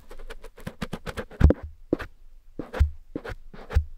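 A cotton swab scratches and rubs inside the ear canal of a grey silicone ear on a black dummy head microphone. The result is a close, dry series of quick scratchy strokes and soft rubs with deep low thumps. Faint bright crackle rides on top of the strokes.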